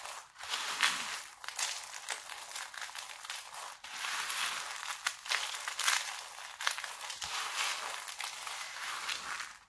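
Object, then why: Laundry soap flakes. A pile of small, hard, dried red and green laundry soap flakes on a white table is rubbed, scratched and crushed with fingertips and palms. Dense, bright crunching and crinkling with no low end goes on throughout, with many brief sharp crackles.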